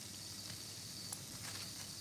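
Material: Nothing is struck.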